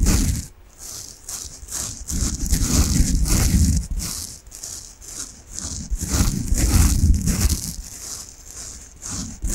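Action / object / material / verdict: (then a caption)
scrape / foam bath sponge / foam / none. Long nails scratch and squeeze a soft peach foam bath sponge in quick, uneven bursts. The sound is a dense, rustling scrape with a bright, airy hiss over a soft, low, muffled rumble. It swells and fades in waves throughout.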